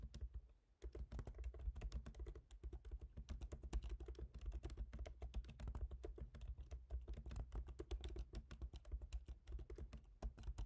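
Fingertips of both hands type rapidly on a MacBook Pro keyboard, its black plastic keycaps set in a silver aluminum body. A steady stream of short, crisp key taps runs for about ten seconds after a brief quiet start, each click decaying almost instantly over a constant low hum.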